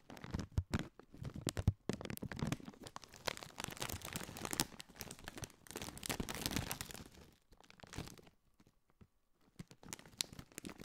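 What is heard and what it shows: A partly filled Doritos chip bag, made of metallized, foil-lined plastic, is squeezed, crinkled and scratched with fingertips close to the mic. Dense, crackling crinkles and papery rustles run almost continuously, with sharper snaps near the start and a low, full body under the bright crackle. After a near-silent pause around 7.5 to 9 seconds, sparser crinkles and scratches resume.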